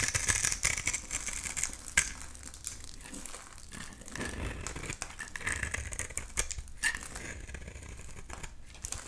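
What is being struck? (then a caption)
Soap bar scraped with a blade. A box-cutter blade scrapes and shaves a solid pink bar of soap into crumbly flakes, making a dense, dry crinkling and crackling with many tiny bright ticks. The scraping runs steadily throughout, with a few sharper crunches standing out along the way.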